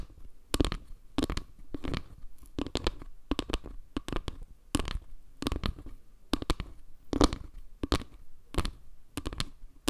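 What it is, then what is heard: Wooden log-slice panel. Long nails tap and scratch along the lower edge and the dark center tiles of a round wooden log-slice panel held above the mic. Bursts of quick, dry taps and scratchy crackles come in clusters, weighted toward low, dull thuds with a little bright grit. Each tap dies away almost at once without ringing.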